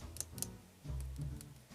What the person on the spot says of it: this is a more dense resin